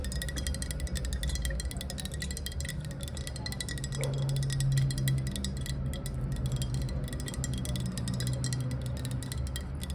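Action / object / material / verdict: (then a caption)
tap / glass bottle / glass / none. Long nails tap quickly along a clear, hollow glass bottle held sideways in the hands, producing a dense stream of bright, ringing clinks over a steady low hum.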